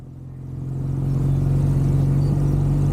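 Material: Nothing is struck.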